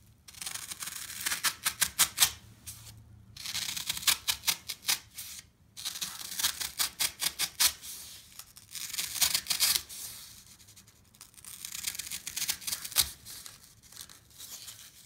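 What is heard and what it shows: A solid slab of green floral foam resting on a wooden deck is held in one hand and cut and chopped with a serrated knife. Bright, crisp crunching bursts come in quick rapid runs, separated by short pauses. Each crunch is dry and dies away almost at once.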